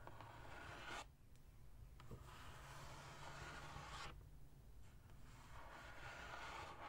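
Long acrylic nails tap and scratch the top of a large, flat, printed cardboard Sephora Favorites gift box that is hollow, holds products, and rests in front. Soft, dry scratching and rubbing come in broad rasping stretches with brief quieter pauses, over a low, steady rumble.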